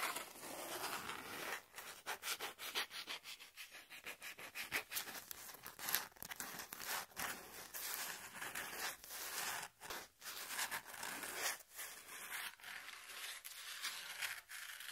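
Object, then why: Corrugated cardboard piece. Long pink fingernails scratch and rub the surface of a small, flat piece of brown corrugated cardboard held in the hand. The result is a dry, bright, hissy scraping with almost no low end, rising and falling in quick strokes separated by brief, near-silent gaps.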